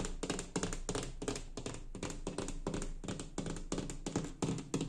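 A fingertip and nail tap and scratch the surface of a large, flat, light wood-grain laminated wooden interior door panel with a small round metal escutcheon. The result is a quick, uneven run of soft, hollow thunks with a low, woody body and brief scratchy brushing between them, each tap dying away quickly.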